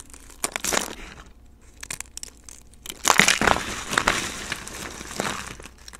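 A pile of thin, dry pink soap shavings mixed with speckled pink soap chunks is crushed and snapped between fingertips. Curled flakes give off bright, crisp crackles and crunches in irregular bursts, with quieter rustling between them and a denser run of crunching in the middle.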